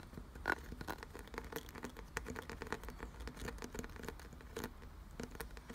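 Fingertips quickly scratch and rub along the ridged grooves of a solid, glossy brown carved wooden piece. The result is a rapid, dry patter of short scratchy clicks over a faint low rumble, with one louder tap near the start.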